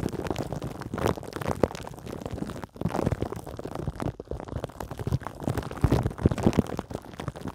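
Long acrylic nails on both hands scratch over the crinkly clear plastic wrap covering a metal mesh microphone grille. The result is a dense, continuous run of close, muffled scratching and crackling, heavy in the low end, with brief lulls just before the three- and four-second marks.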